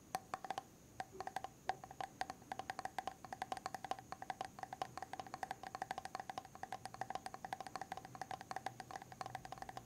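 Fingernails tap and scratch on the silver lid and rim of a medium white plastic hair mask jar, possibly full or empty. A quick, steady stream of short, dry clicks with a hollow mid-pitched ring that dies almost instantly, over a faint high steady tone.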